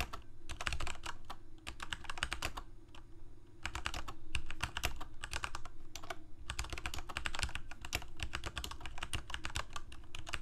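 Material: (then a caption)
Plastic. Fingertips of both hands rapidly type on a full-size Corsair mechanical keyboard with plastic keycaps on mechanical switches, a hollow plastic case and blue backlight. Dense bursts of short, bright clacks come in quick runs, broken by brief pauses, over a steady low hum.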